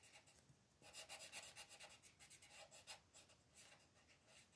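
A colored pencil rubs back and forth across a thin paper mandala coloring page lying on a table, while the other hand, with long nails, holds the page in place. The strokes make a quiet, bright, scratchy rasp in irregular bursts that swell and fade, with almost no low end.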